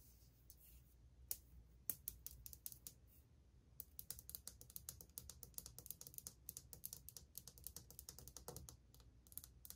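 Long painted fingernails, one finger wearing a metal ring, tap quickly across old glazed white ceramic subway tiles on a solid wall. The result is a rapid run of sharp, bright clicks that stop almost instantly, with a few louder taps standing out over a faint low hum.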